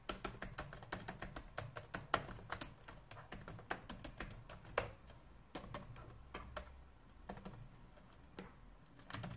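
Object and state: Plastic laptop keyboard typing.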